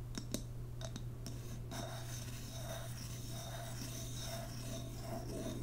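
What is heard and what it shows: A large WoodWick candle in a glass jar, full of white wax and topped with a wooden lid, is held in the hands while long nails tap and scratch the lid and glass. A few short, sharp taps open the clip, followed by continuous soft, bright scratching and rubbing with a faint recurring ring. A steady low hum sits underneath throughout.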